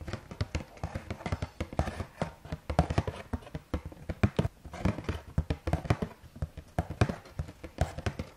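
A Carrefour Bio cardboard box of rice cakes is tapped and scratched with fingertips and nails. Quick, dull, low-heavy taps and soft scratches follow one another in a steady, busy stream, each dying away almost at once.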